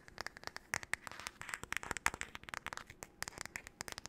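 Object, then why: Wooden paddle hairbrush. Long nails rapidly tap and scratch the solid wood back and handle of a wooden paddle hairbrush. The result is a fast, irregular stream of crisp, dry clicks with bright high-frequency scratching between them. Each tap dies away almost instantly, with no ring.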